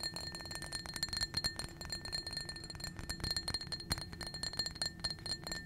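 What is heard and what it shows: Long nails rapidly tap and clink against a small, empty, blue-tinted glass tumbler. The result is a fast stream of short, bright glassy ticks, each with a thin high ring that dies away almost at once, over a faint low hum.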